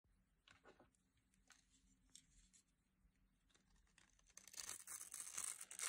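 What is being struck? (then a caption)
Bar of soap carved with a small blade. A small metal utility blade, held in hands with long glitter nails, carves and scrapes flakes off a solid, hand-sized blue-and-white striped bar of dry soap. Short, dry, papery scraping strokes come in an uneven rhythm, then build into louder, denser, bright crunching and crumbling toward the end.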